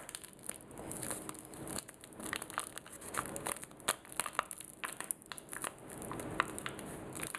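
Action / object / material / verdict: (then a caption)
scrape / plastic sanitizing wipe sachet / plastic / none. Fingertips and short nails pinch, crumple and scratch a small, soft, sealed blue printed plastic sanitizing wipe sachet held close up. The result is a steady, quiet crinkling and crackling, broken by many sharp, bright ticks and scratchy rustles.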